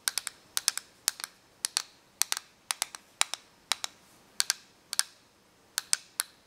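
Long painted nails tap and scratch the clear front cover of a small, hollow, clear plastic correction tape dispenser with a green spool. About 25 crisp, bright clicks come in quick pairs and triplets, each dying away at once with no low-end body, over a faint hiss.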